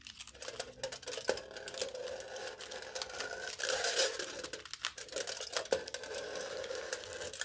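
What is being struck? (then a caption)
Aluminium foil stretched over a cup. A knife tip repeatedly scratches and pokes aluminium foil stretched taut over the top of a hollow cup. The result is a steady run of bright, crinkly scratching broken by sharp little taps, all with a hollow mid-pitched ring from the cup beneath.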